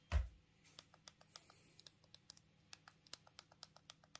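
A thumb repeatedly presses the keypad buttons of a small black plastic Punkt mobile phone held in the hands. After a dull low thump at the start, about two dozen short, crisp, bright clicks follow at a steady typing pace over a quiet low hum.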